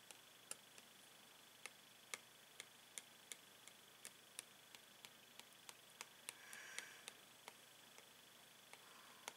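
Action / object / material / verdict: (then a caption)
tap / plastic blister pack holding paint pens / plastic / none. A clear, hollow plastic blister pack holding five coloured paint pens on a cardboard card is tapped with a metal pen tip. About 23 quick, bright, dry ticks land at an uneven pace, each dying away almost instantly. A faint soft rustle swells briefly near the end under a low hiss.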